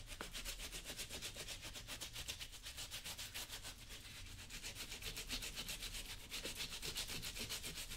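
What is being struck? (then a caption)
Leather work boot rubbed with a polishing cloth. Fingertips wrapped in a small blue cloth rub polish onto the toe and sides of a leather lace-up work boot worn on the foot and coated with product, while the other hand steadies the boot. The result is a steady, rapid back-and-forth rubbing, about four strokes a second, with bright, airy swishes over a soft low rumble.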